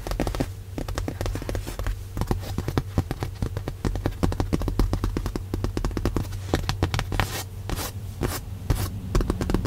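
Long nails and fingertips tap rapidly and repeatedly on a padded white leather car seat cushion, making dense, dull thumps and clicks. Most of the sound sits low, with a steady low hum underneath and occasional bright clicky taps.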